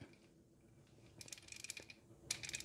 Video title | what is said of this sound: ASE A8 Test Prep #3 - Emission Control Systems (PCV, EGR, EVAP) | To test the PCV valve, you can shake it. If it rattles, it should be good.